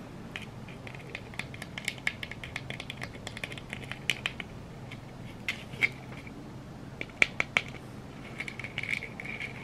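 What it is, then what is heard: Glitter-coated plastic egg. Long red nails scratch and tap a hand-sized yellow glitter-coated egg, likely hollow plastic, held close to the microphone. Quick, irregular clicks and gritty scratches carry a bright, ringing edge near 2.3 kHz and stop dead after each touch. A few sharper taps stand out over a quiet, steady low hum.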